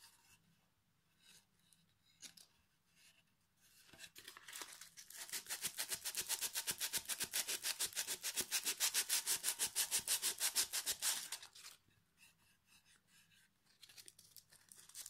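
A solid pine plank with a knot and a metal hook has its edge and face sanded with sandpaper held in the fingers. After a few faint scrapes, a fast, steady run of bright, hissy back-and-forth rubbing strokes builds from about 4 to 11.5 seconds, then drops back to quiet, scattered scratches.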